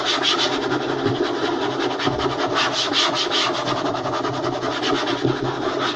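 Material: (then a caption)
Wood. Fingers rapidly tap and scratch a wooden table in a continuous, fast, aggressive rhythm. Dense, bright scratching rasps mix with soft knocks for the full six seconds, holding a steady level without a break.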